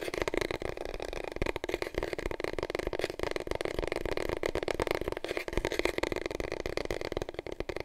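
Fingertips and nails rub and scratch along a long, hollow, empty cardboard paper roll tube, held upright and then diagonally. The result is a steady, dense, papery scratching with quick taps and a hollow, boxy midrange resonance from the tube.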